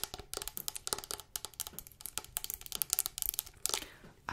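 Long acrylic nails quickly tap and scratch a large, hand-held Dr. Bronner's castile soap bottle made of clear plastic with a blue label and white cap, hollow and partly full of yellow liquid. A fast, uneven run of crisp, bright plastic clicks mixes with scratchy rasps. Each tap is dry and stops at once with no ring.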